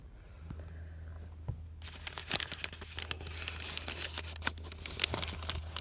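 A thin, hand-sized sheet of white paper with faint printed text, already crumpled and lying on a quilted canvas cushion, is crinkled and rubbed by fingertips. After a quiet start with a steady low hum, a dense run of bright, crackling crinkles and sharp short snaps begins at about 1.8 seconds and continues to the end.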